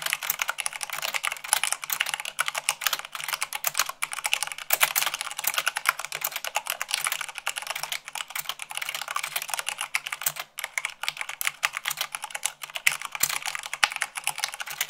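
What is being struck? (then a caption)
Plastic mechanical keyboard keys. Fast typing with fingertips and long nails on a black plastic mechanical keyboard with white plastic keycaps. A dense, continuous stream of sharp, bright clicks and clacks with no low end. Each keystroke cuts off almost instantly.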